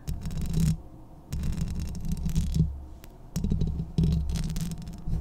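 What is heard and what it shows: Long painted nails from both hands scratch and tap directly on the hollow metal mesh grille of a medium-size Blue Yeti USB microphone with a metal body. Close, boomy low rumbling scrapes come in bursts separated by quieter pauses, with brief bright crackling streaks over the deep thud.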